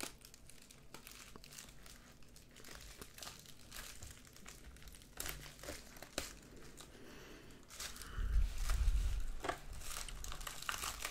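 A white, medium-size padded plastic bubble mailer lies flat on a wooden desk while both hands rub and scratch its flap and surface with fingertips and nails. The result is a steady, dense crinkling with soft scratchy rustles, which grows louder and fuller in the low end near the end.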